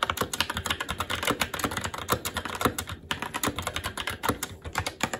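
A SteelSeries Apex 7 TKL mechanical keyboard with red linear switches, black plastic keycaps and an aluminum plate is typed on continuously with the fingertips of both hands. Rapid, short clacky key taps follow one another with very little ring, their bright clicks rising over a faint low thump from each keystroke.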